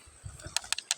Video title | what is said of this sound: Batu giok temuan sungai lukulo kebumen -- jadeite jade stone -- Batu giok -- Batu gigi petir -- | Coba saya pakai batu ini. Nah, lihat ini bunyinya biasa.